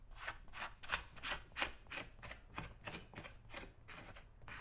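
A small flat metal scraper blade held in the hand is scraped repeatedly along the toe and side of a brown leather boot, worn on a foot on a shoe-shine stand, lifting old polish from the solid leather upper. About 13 short, bright, rasping strokes come at a steady, fairly quick pace, each a dry scratchy burst that stops almost at once, over a faint low rumble.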